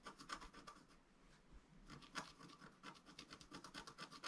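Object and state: Scratch-art paper being scratched.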